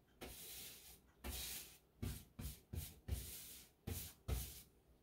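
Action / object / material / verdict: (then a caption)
scrape / paintbrush on painted textured drywall / drywall / none. A wide, paint-laden brush is swept across a painted textured drywall wall around a light switch box. Eight separate strokes are heard as soft, bright, hissy swishes, each beginning with a low thump as the bristles meet the rough surface.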